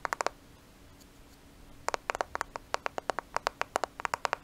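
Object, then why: Smartphone with glass and plastic body. A black smartphone with a glass and plastic body is held close and tapped and scratched with fingernails. There are 21 short, crisp clicks: a quick burst of four at the start, a quiet pause with faint scratching, then a steady run of sharp taps. The taps are bright and have almost no ring after each one.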